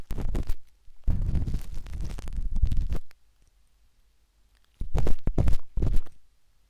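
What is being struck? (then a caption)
Silicone ear of a binaural microphone scratched with a metal-tipped stick. A metal-tipped dot stick with a wooden handle scratches inside the soft, hollow canal of a pinkish-white silicone binaural microphone ear. Dense, rumbling, low-heavy scraping comes in bursts, with a long quiet gap in the middle before a final few rapid scratches.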